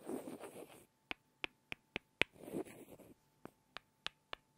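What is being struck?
Two small light-wood blocks.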